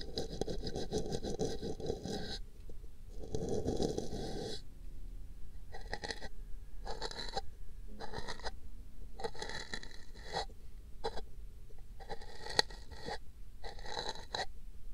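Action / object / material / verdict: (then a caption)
scrape / paper cup / paper / none. A small brush rubs a hollow, empty pink paper cup set on a microphone ear in steady strokes. The result is dry, scratchy brushing in a series of bursts, with the first two strokes long and full-bodied and the later ones shorter and brighter with a hissy high edge.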